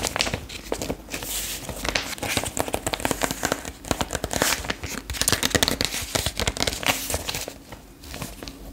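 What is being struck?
Glossy paper magazine page tapped with fingernails.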